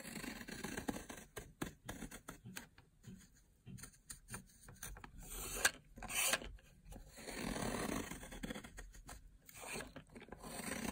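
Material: Soap.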